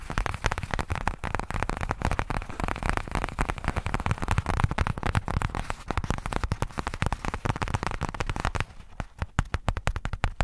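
Fingertips and nails rapidly scratch and tap the grainy surface of a flat, soft-sided black pebbled faux leather zip case. The sound is a dense, continuous stream of short, dry, crackling clicks and scrapes, mostly low and muffled. Near the end it briefly quiets before sharper, more spaced taps return.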